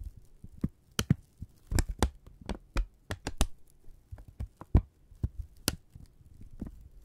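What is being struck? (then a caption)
Thin strip of kraft paper. A thin, flat strip of brown kraft paper is held taut in both hands and crinkled, stretched and rubbed with the fingertips. Short, sharp crackles and snaps, some bright and others dull, arrive at an uneven pace. They sit over a low, soft rumbling bed, and each sound dies away almost at once.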